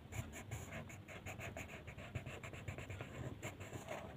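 The tip of a purple colored pencil rubs across a flat white paper mandala coloring sheet on a table in steady coloring strokes. It makes a rhythmic, scratchy rasp that pulses with each back-and-forth stroke. Bright papery hiss rides over a soft low rumble.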